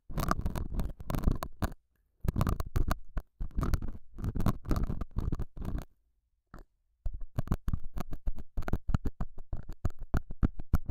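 A metal dental scaler scratches and pokes the surface of a small, solid, square beige felt pad mounted over a small lavalier mic. Close, muffled, low-heavy scraping and dull thumpy taps come in quick bursts separated by short silences. Each tap dies away almost instantly.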